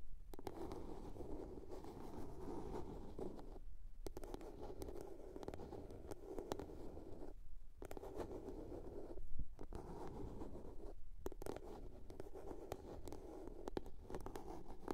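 Long nails scratch and tap the lid of a small, hollow blue plastic box. The result is a soft, steady, low-heavy scraping texture with quick faint taps throughout, broken by a few brief pauses.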